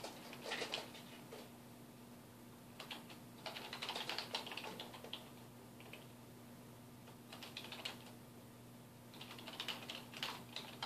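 Fingertips type on a dark plastic desktop keyboard resting on a wooden desk, producing quick, bright, clicky keystrokes. The typing comes in several short bursts separated by pauses, over a faint steady low hum.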